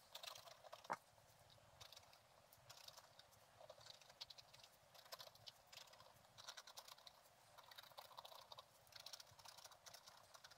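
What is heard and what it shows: A thin wooden stylus held in the fingertips scratches repeated short strokes into a flat page of black-coated scratch-art paper with a gold underlayer, bound in a book. The sound is a quiet, dry, bright scratching in clustered bursts, with almost no low end and one sharper tick near the start.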